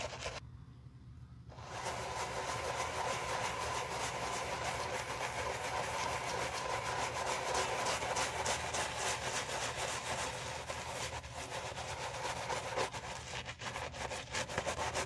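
A navy grained leather driving shoe, hollow and lying on white cloth, is held by a gloved hand and scrubbed with a wooden-handled natural bristle brush and soap foam. After a brief quieter moment at the start, there is a steady, dense rapid scratchy brushing with bright bristle hiss and soft foamy crackle, continuing rhythmically to the end.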